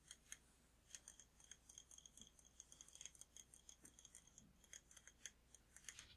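A large glass jar candle with a glass lid, filled with red wax, is held and tapped on the glass with fingertips and nails. Quick, quiet, bright clicks and taps come in a steady, uneven patter with very short ring, over a faint low hum.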